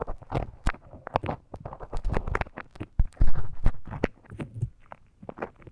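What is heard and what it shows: A thin bamboo stick scratches inside the ear canal of a life-size soft silicone ear model. Close, dense crackling and scraping comes through in quick irregular bursts of low, muffled rubbing, with occasional brighter clicks and pops.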